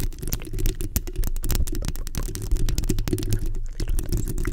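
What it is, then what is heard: Metal mesh microphone grille being scratched. Long nails from both hands scratch the hollow metal mesh grille of a black microphone. The result is a dense, continuous rasping and crackling with a strong low rumble and short, sharp scratch transients throughout.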